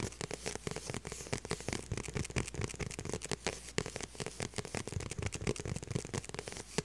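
Long purple nails tap and scratch across the flat, hollow back of a small light blue faux leather handbag. The result is a dense run of quick, dry clicks and crackly scrapes over a soft low body, each tap dying away almost at once.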